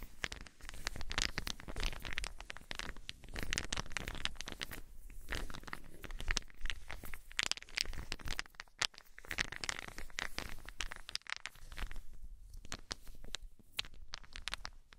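Small solid wooden balls are held in cupped hands with long nails, then shaken and rolled so they clack together. The result is a dense, continuous stream of quick, dry, bright clicks and rattles over a soft low rumble, rising and falling in short bursts at a quiet level.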